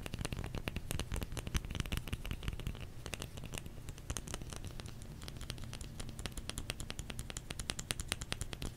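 Fingers tap rapidly and continuously on a solid bar of soap. The taps are short, dry and muffled, with a heavy low thud under each one and light, bright clicking at the edges. They run close together the whole time, with a slightly softer stretch in the middle.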